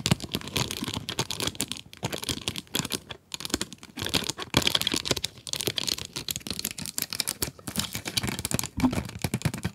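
Long nails tap and scratch the plastic window of a cardboard pencil box full of pencils. Rapid, dense, crisp clicks and scratchy scrapes come in short bursts with brief pauses. The sound is bright and papery, and each tap dies away almost instantly.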